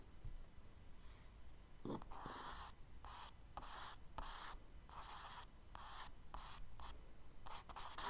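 A charcoal stick held in the fingers scratches and strokes across the tan kraft paper page of a spiral-bound sketchbook lying flat on a dark desk, shading trees and a road. Short bursts of dry, bright, hissy scraping come one after another with brief quiet gaps, over a faint low background hum.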